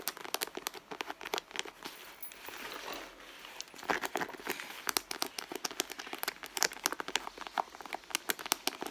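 Long blue nails scratch and rub the end panel of a medium red pebbled-leather handbag with a small metal logo plate, the soft, hollow bag giving off a quick series of dry, crinkly scrapes and clicks. The sharp, bright transients are interspersed with a softer rubbing hiss in the middle, with almost no low end.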